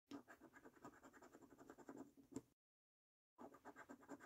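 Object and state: Paper scratch card being scratched with a coin.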